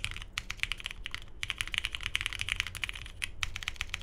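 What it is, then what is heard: Mechanical keyboard with plastic keycaps. A 75% Tomo mechanical keyboard with a navy hollow case, polycarbonate plate, lubed Cherry MX Hyperglide Brown switches and cream and grey plastic keycaps, resting on a desk mat, is typed on continuously with the fingertips of both hands. A rapid, uneven stream of short, bright, clacky keystrokes, each dying away almost instantly, sits over a faint low hum, with two brief pauses in the typing.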